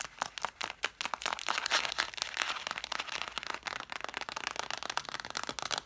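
Long nails scratch and tap rapidly along the cloth spines of a stack of red cloth-bound hardcover books. Quick, dry, crisp clicks mix with bright scratchy rustling, each tap dying away almost at once with no low end.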